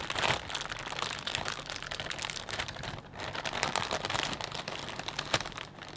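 Hands grip and rub a clear plastic bag full of potato chips, producing a steady, bright crinkling and crackling. Dense, irregular crunches run throughout, with a brief lull near the middle and a sharper crackle near the end.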